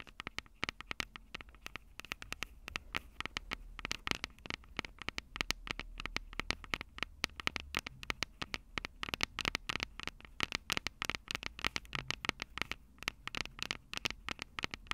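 Long purple nails tap and scratch the two silver metal mic capsules on a plastic-bodied Tascam DR-05 handheld recorder. Dense, rapid, dry clicks and scratchy brushing sounds, bright and centered around 2.2 kHz, come with no ring, over a soft low rumble that rises and falls.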